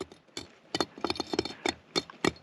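A light piece of volcanic lava rock, picked up on a trail through a lava field, is tapped in a series of short, bright clinks. The taps stop quickly, and the rock gives a surprisingly metallic sound rather than the sound of ordinary stone.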